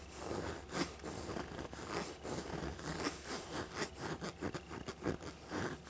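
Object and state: Faux leather backpack being scratched.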